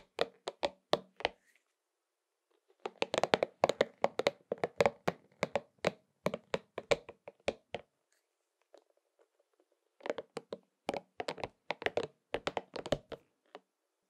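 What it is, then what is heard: Rubber spiky massage ball. A pink and purple soft rubber spiky massage ball is held in one hand and tapped with the fingertips, then held with both hands. Quick, dry, crisp taps with no ring come in three rapid bursts. Brief pauses between the bursts carry faint soft rubbing of the rubber.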